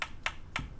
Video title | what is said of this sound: 03/18/21 - CRAFTS [cleaning/painting cow skull ASMR] PT2 | if you can hear me tapping there there's not not a lot of give in there